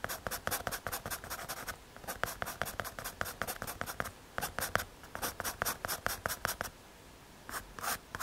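A pencil tip scratches quick short strokes across a small, solid, square brown MDF or hardboard panel held in the fingers. Each stroke makes a dry, bright scratching burst with almost no ring. The strokes come in rapid runs, with a brief pause near the end before a few final strokes.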